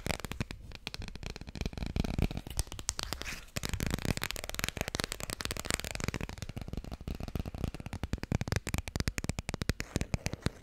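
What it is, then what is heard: Cardboard board book. A small, thick children's board book with solid, glossy laminated cardboard pages is held close to the mic and tapped quickly on its cover and edges with long red-painted nails. The taps come as a fast, steady stream of dry, clicky strikes with a soft, low thump and almost no ring, pausing briefly about a third of the way through before continuing.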